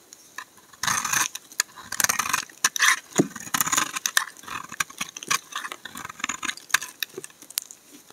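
A steel utility blade scrapes and carves curls from the corner of a solid brown laundry soap bar held in fingers. The continuous shaving action makes bright, crackly, rasping scrapes in quick bursts with brief pauses between strokes.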